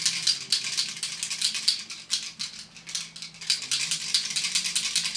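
A travel-size plastic setting spray bottle with mixing balls inside is shaken, as its label says to shake well. The balls rattle in a rapid, bright, crisp clatter concentrated in the high frequencies, much like the balls in a shaken nail polish bottle. The rattling is normal for the bottle.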